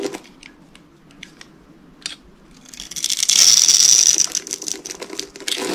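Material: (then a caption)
Soap. A utility knife blade cuts and scrapes small cubes off the scored surface of a solid, hand-sized, rectangular green bar of dry soap held in one hand, while flakes fall away. Sparse, crisp, dry clicks and snaps come first, then a louder, dense, bright crunching scrape with a thin high whistling tone builds from about three seconds. It eases into scattered crackles at the end.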